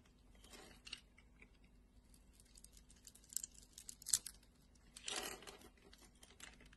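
A metal blade cuts and scrapes the cubed surface of a solid red translucent glycerin soap bar, knocking small cubes off. Quiet, bright crisp crunches and scratchy snips come in short bursts, with a longer rasping scrape near the end over a faint low hum.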